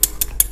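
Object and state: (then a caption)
Metal fishing reel body. Four sharp knocks on the metal body of a Sasame Curiomax spinning reel give bright, short metallic clicks with a high ring that dies away almost instantly. The crisp tone confirms the body is metal.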